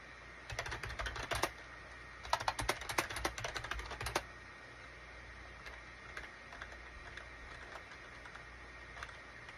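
Fingertips type on the keys of a gray SHIPADOO K600 wired USB keyboard, a full-size gray and cream plastic keyboard with a hollow plastic case resting on a desk mat. Two quick bursts of sharp, clacky keystrokes come around 0.5–1.5 s and 2.3–4.2 s, followed by scattered single, softer key taps. A steady low hum and a faint tone near 2 kHz run underneath throughout.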